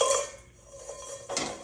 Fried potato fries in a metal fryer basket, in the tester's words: how crispy they are just in that basket